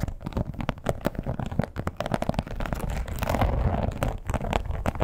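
Long nails scratch and tap along the edges and surface of a red, glossy, croc-textured leather wallet with a strap. The result is a dense stream of short, dull taps and rough scratching, heavy in the low end with little brightness, rising into a steadier rasp midway.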